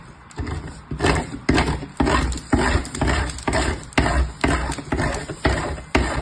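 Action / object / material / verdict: scrape / bar of soap on a metal box grater / soap, metal / none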